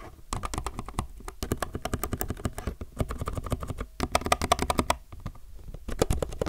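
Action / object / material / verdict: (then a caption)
tap / mechanical keyboard with plastic keycaps / plastic / none. A low-profile mechanical keyboard with plastic keycaps is typed on densely with the fingertips of both hands. Rapid, sharp clicky keystrokes come in quick bursts with brief pauses, each a short, dry tap with a low thock and bright click.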